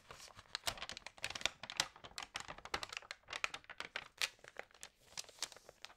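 Long nails and fingertips turn the glossy pages of an Allerhande magazine and rub them flat. The result is a quiet, steady stream of crisp, bright crinkles and sharp taps, with almost no low end.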